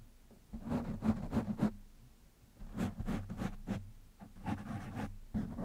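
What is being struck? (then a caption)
Foam microphone windscreen. Fingertips of one hand scratch the black foam windscreen on a microphone, making rapid, uneven bursts of close rustling and scratching. The sound is dull and bassy, with a low hum underneath. Short quiet gaps separate the scratching spells.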